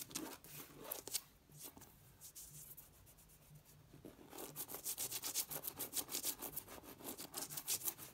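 Fingertips and long red nails rub and scratch across the raised texture of embossed floral vinyl wallpaper on a flat wall. Bright, dry scratching strokes fade to a quieter, softer rubbing in the middle, then return as a faster, steadier rhythm of crisp scratches.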